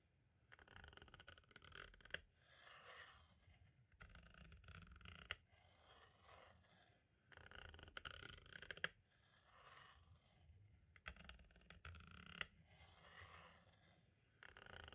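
A pointed tool tip taps and traces the corner, edge and window of a small, hollow white plastic audio cassette shell. Bursts of bright, dry clicking taps alternate with softer scratchy scraping passages, repeating at quiet levels with brief pauses between.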